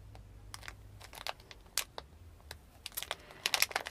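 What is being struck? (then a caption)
Thin plastic snack bag of soft candies. A small crinkly plastic Fini Hooplas licorice candy bag, full of soft licorice candies, is held between both hands and tapped and crinkled with fingertips and nails. It makes a quick series of sharp, bright crackles and taps over a faint low hum, with the loudest bursts clustered near the end.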